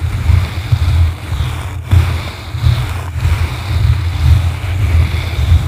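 Blue plastic-bristle brushes scratch both sides of a yellow foam microphone windscreen. The result is a continuous, muffled low rumble that swells and fades unevenly, with almost all of its energy deep in the bass and only a faint hiss above it.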